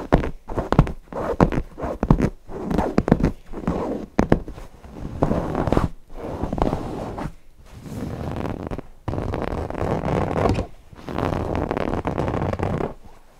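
Fingertips scratch and rub the fabric of a stuffed cotton owl cushion near its eyes and beak. Short, choppy scratching bursts in the first half give way to longer, steady rubbing strokes with brief pauses between them. The sound is soft and muffled, sitting mostly in the low and middle range with almost nothing bright on top.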